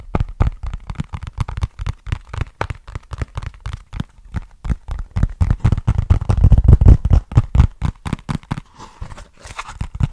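Fingertips tap and scratch a small, flat, hollow brown cardboard box with a barcode label close to the mic. The result is a steady run of dull, low, boomy taps with short crinkly scratches in between. The taps grow louder and fuller toward the middle before thinning out into lighter scratching at the end.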